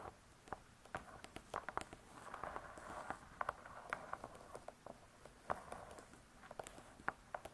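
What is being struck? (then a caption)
Spiral-bound cookbook with hard cardboard cover. Long pointed nails tap and scratch on the hard cardboard cover of a spiral-bound cookbook. Quiet, crisp clicky taps come in an irregular series, with soft rasping scratches between them. Each tap dies away almost instantly.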